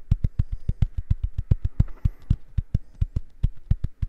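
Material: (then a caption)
Silicone. Fingernails tap and scratch the surface of a small purple silicone facial cleansing brush pad held in both hands in front of the mic. About two dozen quick, soft, dull thuds follow one another at an uneven pace, each low and muffled with almost no ring, and faint scratchy texture sits between them.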